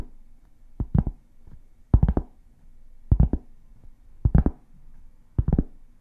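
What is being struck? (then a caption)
Round cork board. Long painted fingernails tap and scratch a large, flat, solid round cork board held up close. Short, dull, low knocks come in quick clusters about a second apart, with soft scratching between them and almost no ring.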